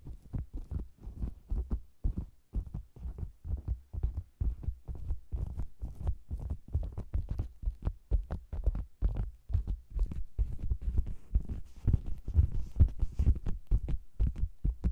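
Taps on the sides of a round, hollow red faux leather cosmetics bag with a microphone inside, then long green nails tap and scratch its red top. The result is rapid, irregular, muffled thumps that are deep and boomy with almost no high end. The taps grow somewhat louder toward the end.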